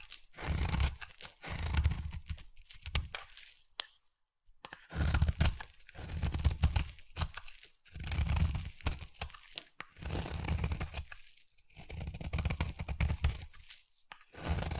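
A utility knife blade scrapes along the edge of a solid light pink bar of soap, shaving off soft curls. Long raspy, crunchy strokes with a deep low body and a bright hiss repeat in bursts, separated by short silent pauses.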